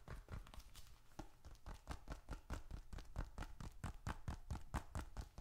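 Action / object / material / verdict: tap / leather bifold wallet / leather / none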